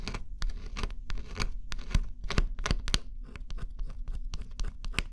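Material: Cardboard.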